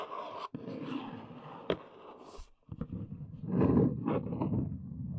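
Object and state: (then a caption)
Cardboard box. Long nails tap and scratch along the top edge of a large brown cardboard box standing upright, giving dull, papery scraping with a sharp click partway through. After a brief pause, the scratchy tapping returns louder and denser before easing off, staying mostly low and muffled with little high end.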